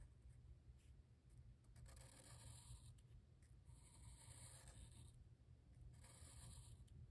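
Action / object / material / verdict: scrape / paper sketchbook page with felt-tip marker / paper / none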